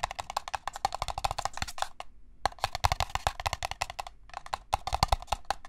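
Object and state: Paper cup tapped.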